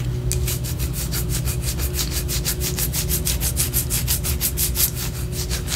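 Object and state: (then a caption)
Wax pillar candle. Long orange acrylic nails scratch and rub a large white solid wax pillar candle held sideways. Rapid, even, bright scratchy strokes repeat in a steady rhythm throughout, over a constant low hum.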